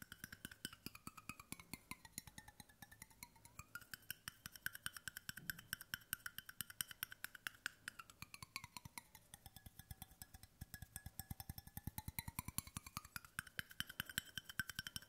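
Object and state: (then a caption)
Stainless steel water bottle. Fingertips and short nails rapidly tap the bottom and side of a large, hollow, brushed stainless steel water bottle. The result is a quiet, steady stream of short, dry, wood-block-like clicks with a metallic ring around 1.5 kHz, and bright overtones that slowly sweep down and back up.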